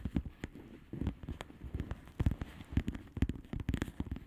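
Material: Plastic.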